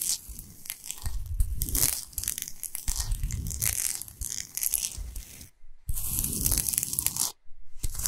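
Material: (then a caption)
Rock salt. Long pointed nails scratch fast across the surface of a large, flat, solid pink Himalayan salt block. The result is a dense, gritty, crunchy rasping with a low rumbling body and a bright, hissy top. It is interrupted by two brief silences near the end.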